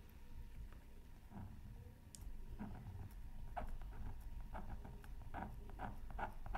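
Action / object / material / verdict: scrape / wax-coated scratch art card scraped with a wooden stylus / coated paper / none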